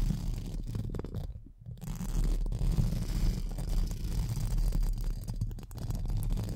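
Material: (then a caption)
Metal mesh. Pink spoolie brushes are rubbed and scratched over the top and sides of a hollow metal mesh microphone grille. The result is a dense, close, low rumbling scrape, with nearly all its energy deep in the low end around 86 Hz. It continues steadily apart from a brief quieter dip around 1.5 seconds.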